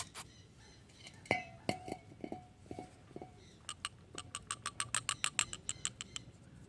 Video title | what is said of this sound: BMW 318iS E30 ICV Cleaning | it already sounds like it's uh like it's loose in there and it's moving around freely